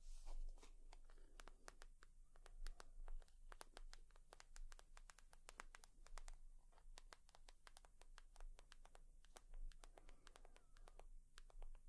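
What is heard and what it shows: A leather purse is tapped and scratched with long nails, giving a fast run of dry, sharp clicks mixed with soft scratchy rubbing. The taps are quiet and short, ringing only briefly over a steady low hum.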